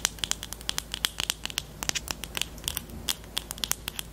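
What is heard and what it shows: Long teal nails tap and scratch the barrel and black cap of a small, hollow pastel pink plastic highlighter pen. About 25 sharp, bright clicks ring out in an irregular rhythm, each dying away almost instantly over a soft, low rustle. The sound stays crisp and high, with very little low end.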